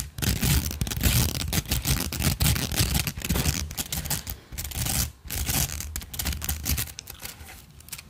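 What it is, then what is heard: Plastic coil spring toy scratched along its ridges. A multicolored plastic rainbow slinky, a hollow coil spring toy, is held close to the microphone and scratched and rubbed along its ridges with long nails and fingertips. It makes a dense, uneven stream of dry, rasping scratches and quick ticks over a low, rumbling body, with brief pauses along the way. The scratching softens and thins out toward the end.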